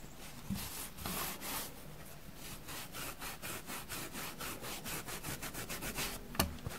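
A soft, dusty grey porous foam sponge is squeezed, bent and crumpled with both hands and fingertips with painted nails. A steady run of soft, scratchy rubbing strokes with a bright, airy hiss is heard, with a few low thumps and a sharper crackle near the end.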